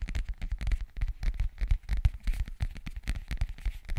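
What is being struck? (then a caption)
Zippered hard-shell case. Fingernails scratch and tap the surface of a flat, hollow black zippered hard-shell case held close to the microphone. The result is a dense, irregular stream of short scratches and dull, low-heavy taps with no ringing tail.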